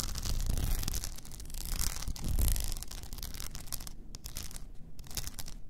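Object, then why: Rhinestone-covered tumbler. Long nails scratch the sides and frosted lid of an upright blue rhinestone-covered tumbler, making a dense, gritty rasp with bright crackling over a low rumble. The scratching swells to its loudest around the middle, then continues in quieter, choppier strokes with brief high ticks near the end.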